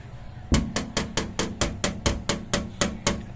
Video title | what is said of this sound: SUZUKI DA64 Automatic MINIVAN Turbo DIY - Oil Leak on K6A engine oil cooler | Iba ang tunog, matigas. Hindi siya rubber talaga. Kasi kung rubber, hindi yan tutunog ng ganon.